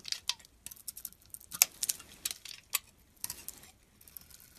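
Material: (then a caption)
Soap. A utility blade carves shavings from an oval solid white soap bar with a blue rim, held in the hand. The result is a series of short, crisp, bright scraping and crackling strokes with almost no low end, separated by quiet pauses.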